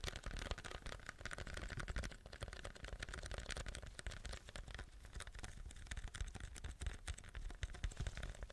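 A large, hollow white paper drink cup with a plastic lid and straw is held in both hands and tapped and scratched with fingernails. It makes a steady, quiet stream of rapid, dry, muffled taps and scratchy rustles, with dull low thumps and short, quickly fading clicks.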